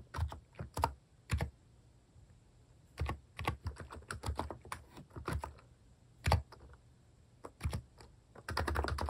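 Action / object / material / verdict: tap / keyboard with plastic keycaps / plastic / none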